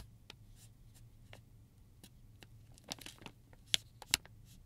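A flat, medium-sized silver metallized plastic zip pouch holding plastic combs lies on a table while fingertips and nails scratch and rub slowly across its surface. Soft, bright crinkling scratches come at an uneven pace over a faint low hum. They build to a few sharper, louder crackles near the end.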